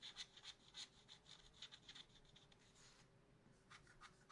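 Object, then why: Coated scratch art paper scraped with a wooden stylus. A wooden stylus scratches a plant design into a black-coated scratch art paper sheet in a spiral notebook, working on the lower plant. Quiet, bright, dry scratching strokes come in irregular short bursts with a faint hiss between them.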